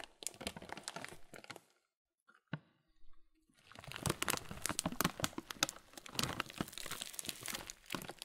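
Both hands, one fingertip in a blue cover, slowly squeeze a thin, hand-sized clear plastic bag full of oat flakes and chocolate cereal pieces over a wooden table. The plastic gives dense, bright crinkles while the cereal crunches inside, broken by a brief near-silent pause with a few soft ticks around the two-second mark. The crinkling and crunching then return, building louder and denser through the second half.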